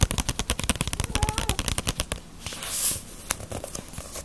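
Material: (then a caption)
Paper. Fingernails tap on the glossy paper cover and spine of a small, solid *Ace of Diamond* paperback manga volume. They make a rapid run of sharp, dry clicks with a low thud beneath. The taps slow and soften after about two seconds, followed by a brief brushing hiss and a few scattered clicks.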